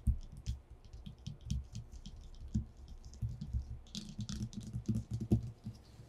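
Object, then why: Paper sheet on a wooden desk. Both hands drum short-nailed fingertips rapidly on a flat white paper sheet lying on a dark wooden desktop, in a fast keyboard-like tapping pattern. A quick stream of soft, dull low thuds is heard with faint bright ticks from the nails. Each tap dies away almost instantly.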